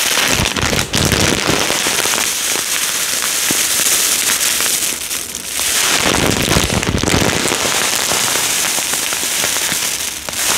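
A clear plastic bag full of small yellow polystyrene foam beads, topped with a cardboard header card, is held and shaken so the beads rustle. The result is a dense, bright, continuous crackling rustle that eases briefly around the middle before building back up.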